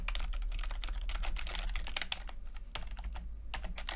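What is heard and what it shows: Fingertips type on a plastic backlit chiclet computer keyboard with plastic keycaps, producing a rapid, uneven stream of light clicky taps. The taps are crisp, bright clicks over a steady low hum, with a brief pause in the typing partway through before it resumes.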